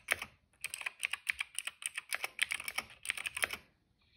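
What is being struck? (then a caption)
Plastic mechanical keyboard. Fingertips type on a cream plastic retro mechanical keyboard with plastic keycaps and a hollow case. A quick burst of bright, clacky keystrokes centered around 2.3 kHz opens the clip, then after a brief pause comes a steady run of crisp, hollow-sounding clicks. The typing stops shortly before the end, leaving near silence.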